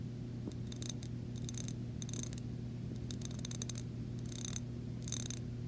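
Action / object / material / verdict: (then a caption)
scrape / small glass jar scratched and tapped with fingernails / glass / none. Long nails tap and scratch the side of a small clear glass jar with bead decoration, holding paper pieces and lying on carpet. Short bursts of bright, crisp clicking and scratching come in quick clusters over a steady low hum.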